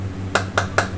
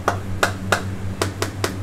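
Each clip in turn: First: Three quick light hammer taps on a metal caviar tin give a slightly hollow click, showing air trapped inside. Second: Six quick, dull hammer taps on a metal caviar tin die away at once, showing it is packed full.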